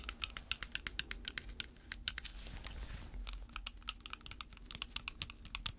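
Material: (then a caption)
Plastic. Long red fake nails worn over latex gloves tap and scratch a clear plastic spray bottle, partly filled with water, held in gloved hands. Rapid, sharp, bright clicks with very short decay repeat throughout. A softer, hissy scratching stretch comes in the middle before the quick tapping resumes.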